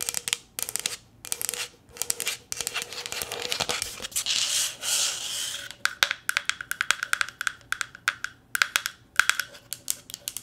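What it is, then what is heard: Plastic tumbler tapped with fingernails. Long green nails tap and rub a hollow, empty, light green plastic tumbler held in the hands. Bursts of quick, bright, clicky taps come in clusters, broken midway by a soft, hissy rubbing stretch. The later taps ring with a faint, high hollow tone.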